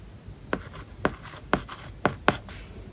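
A plastic stylus writes on an iPad lying flat, whose glass screen is covered with a matte plastic paper-like film. Five sharp taps of the stylus tip stand out above a soft, steady scratching as it moves across the film. The clicks are crisp and brief, with a faint bright hiss underneath.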